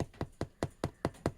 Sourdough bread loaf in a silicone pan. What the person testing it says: nice and Hollow sounding that means it's really light inside